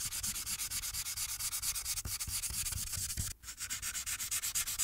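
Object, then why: Paper sheet on a clipboard rubbed by a marker. A marker held in the hand rubs its tip in quick back-and-forth strokes across a thin paper coloring sheet resting on a clipboard. The result is a steady, bright, scratchy rubbing with a rhythmic pulse and a brief dip just past the midpoint before the strokes resume.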